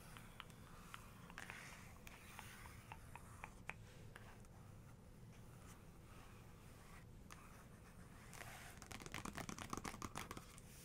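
Fingers with long pink nails trace and tap on the glossy paper page of an open photography book, around a black-and-white photo. Soft scratchy strokes are broken by scattered light, dry taps over a low steady hum. Near the end, a quicker flurry of crisp nail taps grows a little louder.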